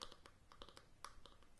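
A plastic hair treatment container is tapped about ten times in quick, uneven succession. The taps are soft, short, bright clicks with little ring, centred around 1.2 kHz. This side of the container sounds hollow and is liked a little less.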